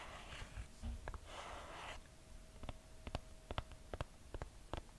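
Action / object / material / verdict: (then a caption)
tap / leather and cork footbed sandal / leather, cork / none. Long nails scratch across the brown leather and cork footbed of a red two-buckle sandal held in hand, making soft, hissy rasps. They then tap the footbed and straps in a loose series of short, dry clicks.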